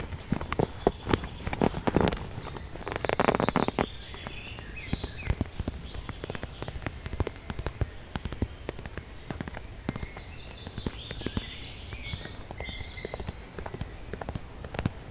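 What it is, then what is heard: Faux leather makeup bag. A medium-sized pink glossy faux leather (synthetic) zippered makeup pouch, filled with contents, is held in both hands outdoors and tapped and scratched with long dark-painted nails while being turned around. Many quick, dull taps with a brief rougher scratching burst early on sit over a low ambient rumble, with faint high chirps in the background.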